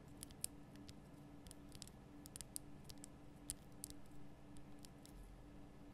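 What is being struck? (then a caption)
Rock-salt lamp. Long nails tap the sides of a large, lit pink Himalayan rock-salt lamp, a solid rough crystal block. The taps are short, dry, bright clicks that stop almost instantly, coming in an irregular scattered series over a steady low hum.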